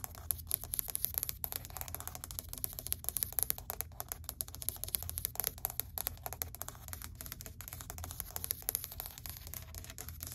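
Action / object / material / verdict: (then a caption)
tap / wood-look laminate plank tapped with fingernails / laminate / none. Long white acrylic nails tap rapidly on a flat, solid grey wood-grain laminate plank, making a dense run of short, dry clicks with almost no ring. A steady low hum and a faint high hiss sit underneath the quiet tapping throughout.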